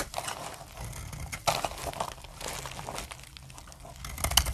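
A metal blade shaves dry curls from the edge of a solid light brown soap bar with a stamped face. It makes a soft, continuous crinkling scrape with bright crackles, broken by a few sharper crunchy snaps along the way, and ends on a louder crackling cut.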